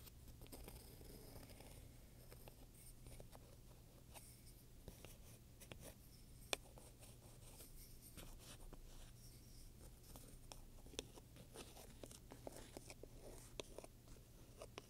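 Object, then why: Leather handbag with metal studs. The tip of a wooden pointer scratches along the right side of a black pebbled-leather purse with domed metal studs, held flat by one hand. Quiet, dry scratching and brushing textures run throughout, punctuated by a few sharper, bright ticks. A steady low hum sits underneath.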